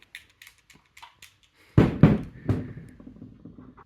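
An electric Brompton bike battery with a broken handle is shaken, and the loose screw threading insert that has fallen inside rattles around the casing. A few faint clicks are followed by several heavier, dull knocks and thuds as the part bounces inside, a sign of the broken handle fault.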